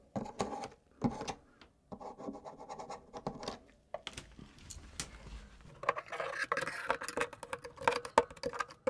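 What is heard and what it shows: The steel blade of a pocket knife scrapes grime from between the switches of a keycap-less black plastic mechanical keyboard, working around the switches and plate. Irregular bursts of dry, gritty scratching and rubbing come with small bright ticks and clicks. Each stroke stops dead with no ring, and the scrapes grow denser and busier toward the end.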